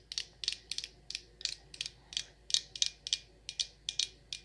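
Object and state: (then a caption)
Glass candle jar. A glass jar candle filled with white wax, labeled Rose Water & Ivy and topped with a dark lid, is held in one hand and tapped and scratched on the glass with long acrylic nails. About seventeen quick, bright clicks sound in an uneven rhythm, each dying away almost at once with no low-end body.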